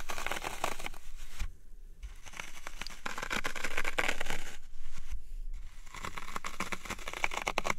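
Fingertips press and poke into the top surface of a dry green floral foam cube resting on a wooden tray, leaving a dimpled, crunchy texture. Dense, fine crunching and crackling is heard in bursts, with two brief quieter pauses between them.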